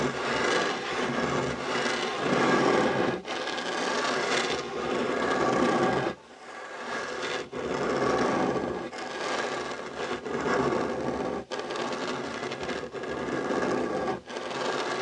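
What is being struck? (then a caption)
Wooden tabletop. Short fingernails and fingertips scratch the surface of a solid, dark wooden tabletop beside a fabric heart coaster. The result is a steady, dry, raspy scratching that is mostly midrange with some brightness. Brief dips and pauses fall between the strokes.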